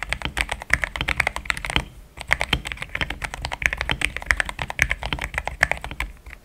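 Fingertips of both hands type fast on a compact pink-white mechanical keyboard with thick plastic XDA keycaps, a polycarbonate plate and linear switches, resting on a desk mat. A dense run of short, crisp keystrokes clacks out, each centered around 2 kHz with a bright edge, dying away almost at once. A brief pause near the two-second mark breaks the otherwise steady typing.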